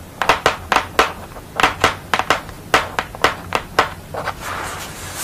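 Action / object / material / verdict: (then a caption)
tap / painted thick paper board tapped with fingernails / paper board / none. Long nails tap and scratch across a painted portrait of a woman with glasses on a purple background, done on a thick paper or board sheet. A run of crisp, dry taps with short decays gives way to a soft, bright scratching hiss at the end.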